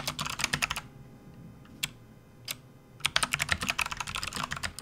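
Fingertips of both hands type fast on a full-size plastic backlit RGB computer keyboard with hollow keys, resting on a desk mat. A quick run of bright, clattering keystrokes is followed by a pause with two lone taps, then another fast burst of typing. Each click is sharp and dies away almost instantly.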